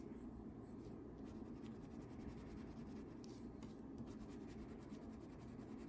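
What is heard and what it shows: A yellow wax crayon scribbles and rubs back and forth across a thin paper coloring sheet lying flat on a table, held in place by the other hand. The result is a quiet, steady, continuous scratchy rubbing with a soft low-mid body and faint brighter grain, with no clear pauses between strokes.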